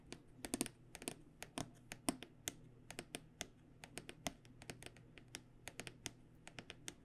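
An aluminum-framed hard microphone case, held on its side, is tapped by fingernails on its aluminum rails and black panel. A fast, uneven run of short, dry, bright clicks follows, each dying away almost instantly, over a faint low hum.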